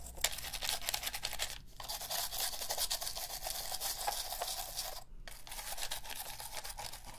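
A plastic toothbrush scrubs near the buttons of a black, hollow plastic PS3 game controller held in a gloved hand. The result is a dense, bright, scratchy bristle scrubbing that runs steadily, with two brief pauses partway through.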